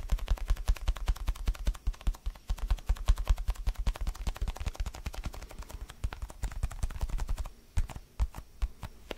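Fast fingertip and nail tapping on the surface of a palm-sized orange foam basketball stress ball. A dense run of short, dull taps with a deep thump under each and faint bright clicks. Near the end the pace briefly thins to a few sparser taps.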